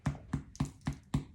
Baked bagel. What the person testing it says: same thing with our bread you want it to sound hollow and we tap it